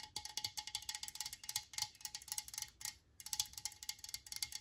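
A metal Lysol aerosol spray can is held and tapped rapidly with long nails, producing about 25 bright, clicky metallic taps with a short tinny ring. The taps run in quick bursts, with a brief pause near the three-second mark before they resume.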